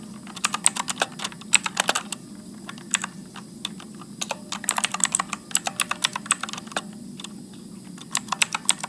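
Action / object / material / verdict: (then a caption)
tap / plastic mechanical keyboard / plastic / none. Fingertips type continuously at medium speed on a Motospeed backlit mechanical keyboard with blue switches and plastic keycaps. The result is a steady stream of sharp, bright clicks with very short decay, in uneven bursts over a faint low hum.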